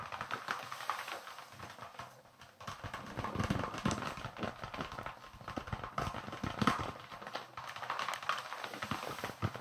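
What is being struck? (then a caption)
Leather baseball. A small, solid white leather baseball with red stitching is held in both hands and tapped or scratched with the fingertips close to the microphone. Quick, dry, muffled taps mix with soft scratching in a steady stream, with a brief quieter pause near the start.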